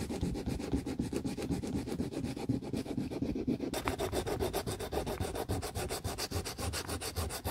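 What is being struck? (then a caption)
Plastic shoe heel block. Gloved fingertips sand a solid pale plastic heel on a tiger-print boot, a dog-bitten shoe being restored, rubbing sandpaper over the bare heel surface in quick repeated strokes. A steady, dry rasping scrape pulses about four times per second, with a low, gritty body. Partway through, the strokes turn brighter and hissier.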